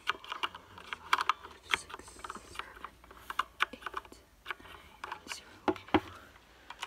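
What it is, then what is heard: Plastic mechanical keyboard. A full-size black plastic mechanical gaming keyboard with a cable and solid body has its keys tapped and typed with the fingertips, then is lifted and tilted in the hands. Short, sharp clicks and clacks sound in uneven bursts with quieter rustling and handling noise between them, keeping a crisp, mid-to-bright plastic tone with almost no low end.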